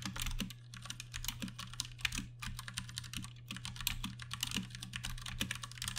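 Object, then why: Mechanical keyboard with plastic keycaps. Fingertips type continuously on a Ducky One 2 Mini, a 60% plastic mechanical keyboard with Cherry MX Brown switches and plastic keycaps. A rapid, uneven stream of bright, short clacks sits over a steady low hum, with a few louder keystrokes standing out.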